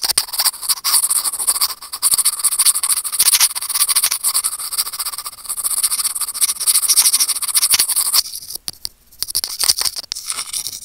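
Curved steel tweezers scratch against a small hollow white plastic earphone mic remote, making a dense, bright scratching and scraping with almost no low end. The rasping runs steadily for about eight seconds, then thins out into sparser, sharp clicks and scrapes separated by brief quiet gaps.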